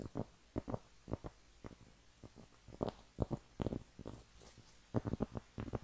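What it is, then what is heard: Cork trivet. A round, flat cork trivet, a thin solid disc about 20 cm across, is held up in both hands and scratched and tapped with long painted nails. Soft, dull, low-pitched taps come in uneven clusters, each dying away almost instantly, with a faint scratchy rasp between them. A few brief bright scrapes rise above the muffled thuds.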